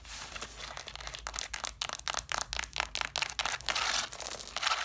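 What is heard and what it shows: Long black nails tap and scratch the covers and spines of a stack of red cloth-bound hardcover books. The result is a fast run of dry, bright taps and rasping scratches with no ring. Some scrapes are longer and smoother, especially near the end.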